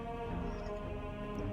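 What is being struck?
Nothing is struck.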